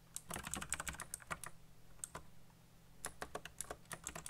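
Fingertips type very fast on a backlit mechanical keyboard with black plastic keycaps, giving quick runs of sharp, bright clicks. A dense burst of keystrokes is followed by a short pause and a second flurry, over a faint low hum.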